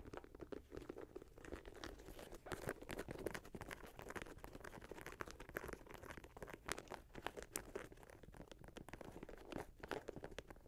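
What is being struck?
Leather and mesh sneaker.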